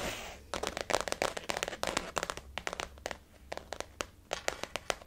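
Fingernails of both hands tap a blue floral-print, glossy faux leather zip-around wallet resting on a table. After a brief soft hiss, rapid, crisp clicking taps come in irregular bursts with short pauses. Each tap is bright and dry and stops almost instantly.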